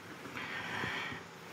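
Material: Nothing is struck.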